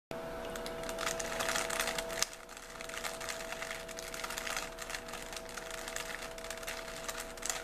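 A small, solid 3x3 plastic Rubik's cube with colored stickers is held in both hands while fingertips twist its layers, the plastic faces sliding and clicking against each other. Quick, irregular, bright clicks and scrapes run throughout, with a louder snap near the 2-second mark. A steady low tonal hum sits beneath the clicking.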